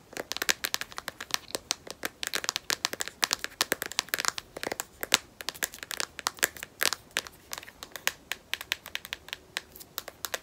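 Long nails tap rapidly on a smartphone in a solid black matte rubberized plastic case. Dozens of crisp, bright, clicky taps come in quick irregular bursts, each dry and short with no ring and almost no low end.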